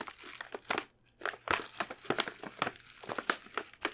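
A medium glossy plastic stand-up bag of Lindor chocolates, full of wrapped truffles, is held up in one hand and tapped and lightly scratched with long painted nails. A quick, irregular run of short, dry, bright crinkly taps and scratches sounds, with some crinkling of the plastic and soft quiet gaps between bursts.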